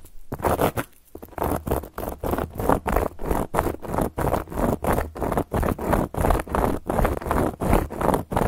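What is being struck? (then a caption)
Round flat cork coaster. Long gold filigree metal claw nails scratch back and forth across a round, flat, solid cork coaster. The result is a steady run of dry, rasping strokes, about three per second, each a short burst of gritty, mostly low-to-mid scraping noise with a faint dull thump underneath and no ring after it.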